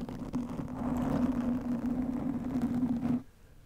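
Long nails of both hands scratch a soft, porous black foam windscreen over a microphone. A dense, continuous scratchy rustle rides over a steady low hum near 260 Hz for about three seconds, then cuts off abruptly, leaving only faint background.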